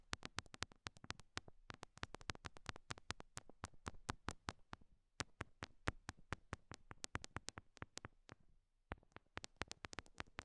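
Long nails tap small solid pink rhinestone heart stickers stuck on silicone binaural mic ears. Quick, sharp, bright clicks follow one another in a steady, rapid stream over a low soft hum, with a brief pause near the end before the tapping resumes.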